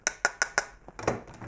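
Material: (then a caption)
Plastic. Four sharp, bright, evenly spaced clicks come from tapping the small two-tube gas reservoir taken out of a Vmax Encore medical gas analyzer, followed by softer knocks and handling clatter. The short, dry sound shows the tubes are plastic, not glass, with hoses attached.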